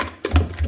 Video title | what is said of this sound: Chitti punukulu #shorts #ytshorts #yttrending #food #foodies #foodblogger #foodshorts #viral | top చేయాలండి టకట sound రావాలి కొడితే